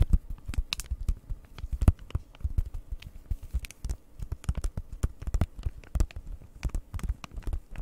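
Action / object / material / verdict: tap / plastic-wrapped flat cardboard package / plastic, cardboard / none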